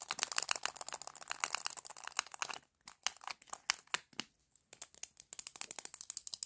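A small hollow plastic lipstick tube with a clear plastic cap is handled as fingers twist and click the cap on and off and nails tap it. The result is rapid, bright, dry ratchet-like clicks with almost no low end, broken by two brief pauses.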